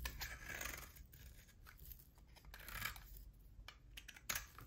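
A utility knife shaves thin curls from a solid oval bar of hard soap with a pale core and a black rim. Quiet, bright, crackly scraping strokes come in bursts over a low background rumble, with a sharper scrape near the end.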